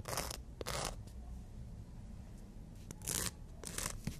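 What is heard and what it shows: Natural nails are rubbed and filed against the abrasive surface of a long black-and-white emery board. Short, bright, hissy scratching strokes come in bursts separated by quieter gaps, over a steady low rumble.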